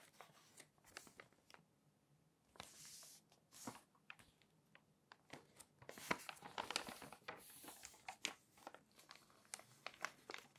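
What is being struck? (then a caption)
Glossy paper magazine. A hand rubs flat across the pages of an open glossy paper magazine, then lifts and flips a page with long nails. Quiet, bright crinkling and swishing rubs are broken by many sharp little ticks and taps. A louder rustling burst comes as the page turns.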